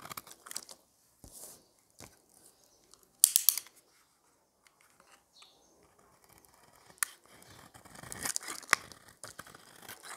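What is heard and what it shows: A solid white dry soap bar held in the hand has its edge scraped and shaved with a metal utility knife blade with a yellow handle, dropping curls of soap onto a pile of shavings below. The audio is a series of short, dry, crisp scraping and crackling bursts that are bright and almost without low end. The loudest stroke comes about a third of the way in, and the shaving grows denser toward the end.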